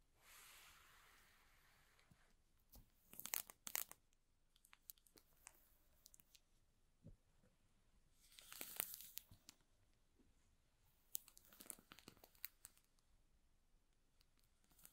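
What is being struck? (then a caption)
Cardboard box in plastic shrink wrap. Fingertips rub and scratch the plastic shrink wrap on the top and sides of a small, hollow cardboard box, producing quiet, bright crinkling and tearing-like scratches. The sound comes in bursts, with the louder rustling clusters around the middle and end of the clip and soft hiss between them.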